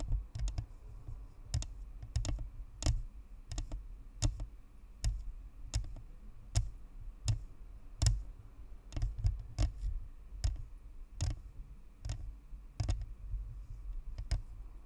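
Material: Plastic.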